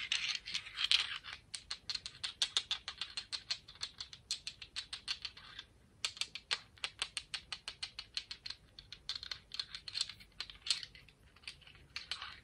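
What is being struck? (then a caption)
Speckled beach stone. A speckled "confetti" sea rock, a beach stone, is tapped and scratched in a quick, steady run of around sixty short, dry, bright clicks with almost no low end. The clicks pause briefly near the six-second mark before picking up again. Each one dies away almost instantly, leaving a crisp, pattering rhythm much like fast typing.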